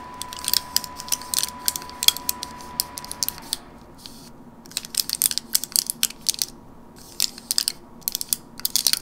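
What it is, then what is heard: Plastic and foil gum blister pack. Long nails tap and scratch across the crinkly plastic and foil face of a flat teal gum blister pack held in the hand. Bright, sharp clicks and crackles come in quick irregular bursts with short pauses, very dry and with no low end. A faint steady tone around 1 kHz hums under the first half and dies away near the middle.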